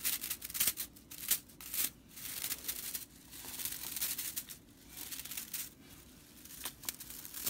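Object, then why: Broomcorn straw whisk broom. Long purple fingernails and fingertips scratch and flick the bristle ends of a small whisk broom made of dry natural broomcorn straw tied with red stitching, lying on a wooden table. The sound is a quiet, dry, bright rattling and crackling, with quick sharp flicks over a steady high, hissy scratching and almost no low end.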